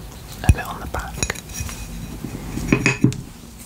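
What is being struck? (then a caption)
Ceramic coaster. A ceramic coaster bought at a craft store is tapped and scratched, giving short, dull, dish-like clinks with quick decay and a low, dead-sounding body. Several taps stand out, strongest near the start and in a cluster toward the end, over faint scraping.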